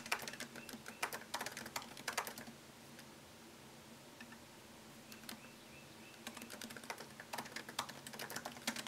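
Fingertips type on a MacBook Pro keyboard, its low-profile plastic keys set in a thin solid aluminum chassis. Quick, bright, light clicks come in busy bursts, then stop for a few seconds of near-quiet with a faint steady hum. The typing then resumes in a second run of clicks.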